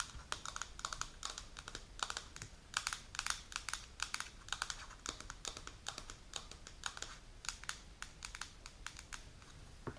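Long pink natural nails tap and scratch the silver lid and sides of a held, medium translucent plastic Baobab supplement jar with a paper label, filled with powder. Quick, quiet, bright clicks come in rapid irregular clusters, like keyboard typing, with faint scratchy rustling between them. Each tap dies away almost instantly, leaving no ring.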